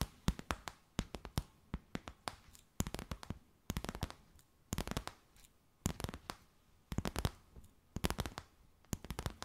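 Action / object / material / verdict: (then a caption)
tap / stiff clear plastic bag / plastic / none. A clear, stiff, empty plastic bag with a few gold specks is held stretched between both hands and tapped and crinkled with long white nails. Quick, sharp crackling taps come in rapid clusters separated by short quiet gaps, each snap dying away almost instantly.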